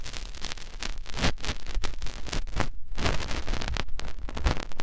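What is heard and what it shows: Fingertips rub and press into the ear canal of a white, soft silicone ear mounted on a white binaural microphone body. Close, continuous scratching and rustling crackles over deep, muffled thumps and pressure rumbles, steady in level with no pauses.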